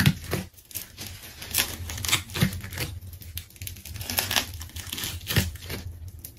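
A craft knife slices through a pink and rainbow layered plastic tape ball, making crackly tearing and crinkling sounds as the tape pulls apart. Bursts of bright, sharp ripping come and go with soft low thumps underneath, all at a fairly quiet level.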